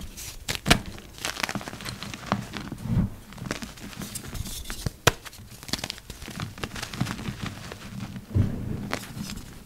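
Yellow rubber-gloved fingers crush and crumble a heap of purple dyed gym chalk, dry powder with small chunks. Close, dry crunching and crackling crumbles run throughout, with a few louder, sharp snaps as chunks break apart.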